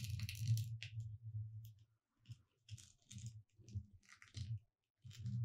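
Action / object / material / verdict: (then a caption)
scrape / glitter-coated foam sign / foam / none. Long red nails tap and scratch across the word "Merry" on a thin, solid, gold glitter-coated foam "Merry Christmas" cutout sign lying on a dark cloth, while the other hand rests still. Soft, low thumps come with bright, gritty scraping rasps in short bursts separated by brief silences.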